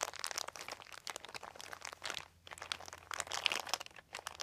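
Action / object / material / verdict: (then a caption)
scrape / thin plastic sheet / plastic / none. Fingertips of both hands scratch and crinkle a large, thin, white crumpled plastic sheet. The result is dense, bright, crackling crinkles in quick irregular bursts, with a brief quiet dip partway through over a faint steady low hum.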